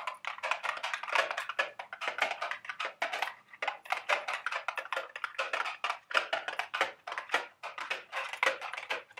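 A small, hollow, printed milk-carton-shaped cardboard candy box is held in the hands and tapped with long, sharp acrylic nails. The result is a dense run of quick, dry, crisp taps with a papery, hollow character. Each tap is very short and sits mostly in the upper mids and highs, with no low end.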